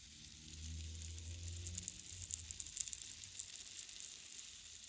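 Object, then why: Bamboo rainstick. A single large green bamboo rainstick, a long hollow tube with visible nodes filled with loose material, is held upright in both hands and slowly tilted so the filling trickles down inside. The result is a steady, bright, hissing patter of fine crackles that thickens into sharper ticks as it goes on. A low hum sits underneath during the first couple of seconds.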